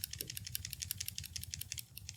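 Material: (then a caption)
Plastic. A medium Finalmouse Starlight Pro TenZ gaming mouse is shaken with its scroll wheel held down, producing a fast series of light, high-pitched ticks. The light rattle persists even with the wheel held, so it does not come from the scroll wheel. It is a minor rattle, nothing major.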